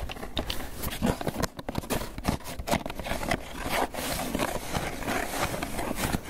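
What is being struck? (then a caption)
Polystyrene foam takeout container. A small, hollow, closed and apparently empty white polystyrene foam clamshell takeout container is held in both hands and tapped and scratched with long fingernails and fingertips. Quick, dry hollow taps land irregularly over a continuous scratchy, squeaky rasp of nails dragging across the foam. The sound stays dense and busy throughout, with a dull low body under the brighter scraping.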